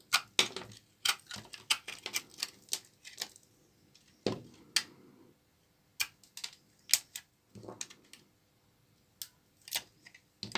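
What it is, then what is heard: Dry laundry soap bar. A small knife blade cuts and scrapes flakes off one edge of a large, solid bar of old, dry brown laundry soap held in the hand, the flakes cracking off as it goes. A rapid, irregular series of sharp, bright, dry cracks and clicks sounds out, each one very short with almost no ring, separated by brief pauses and a few softer scraping passes.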